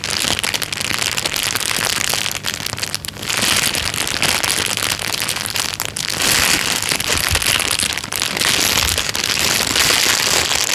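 A thin, clear plastic bag lying flat is pressed and rubbed with the fingertips, making a steady, bright crinkling and rustling. Dense, crackly bursts run nearly the whole clip, with brief dips in loudness around three and six seconds.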